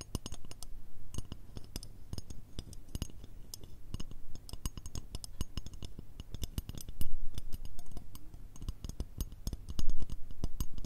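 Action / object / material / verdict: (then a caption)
tap / metal shoehorn / metal / none. A long, curved, mirror-finish metal shoehorn, a thin solid strip held horizontally, is tapped with long red acrylic nails. Quick, irregular, clicky taps with bright high ticks die away almost instantly over a faint low hum. The tapping gets louder in bursts around seven and ten seconds.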